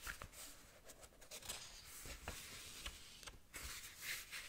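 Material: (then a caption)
Paper. Long nails scratch across the pages of a small paperback manga book and riffle through them. A soft, bright, papery scratching and fluttering runs throughout, broken by several sharper flicks of turning pages.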